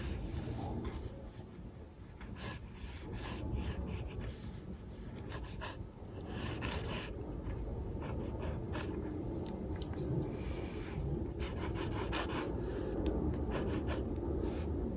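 A mechanical pencil tip scratches short, quick strokes on a paper sketchbook page near the lower edge of a drawn figure. Soft, dry scraping bursts streak up into the bright range over a steady low background hum.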